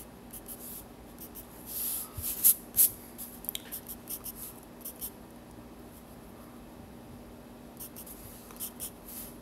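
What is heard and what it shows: A yellow pencil scratches lines across the torso of a drawing on the white paper page of a spiral sketchbook. Short, bright, scratchy strokes come in irregular bursts, with the loudest cluster early on, over a quiet steady low hum. The strokes fade to near silence in the middle before a few softer scratches return at the end.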